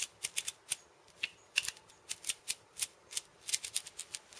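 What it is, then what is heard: Steel bead cabasa. Purple-painted fingernails tap and scratch the steel ball chains and the wooden rim of a steel bead cabasa, a hollow wooden cylinder wrapped in metal beads. About twenty quiet, bright, dry clicks and brief rattles sound in an irregular rhythm. Each is sharp and dies away almost at once, with no low end.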